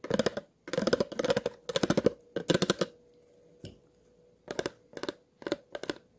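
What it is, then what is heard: Empty plastic water bottle scraped along its ridges. The tip of a pair of scissors scratches the ridged body of an empty, hollow clear plastic water bottle. Quick bursts of bright, clicking scratches are separated by short pauses, with one soft knock during the quiet stretch. A faint steady tone hums underneath throughout.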